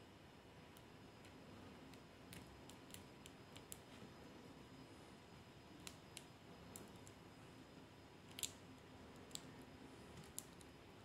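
A small die-cast toy car with a solid metal body, grey base and flaking orange paint is held in the fingertips and scraped with a thin wooden toothpick to lift the loosened paint. Quiet, scattered, sharp, bright ticks and scratches sound over a steady low hiss, each dying away almost instantly. Some of the clicks may come from the paint flakes rather than the metal itself.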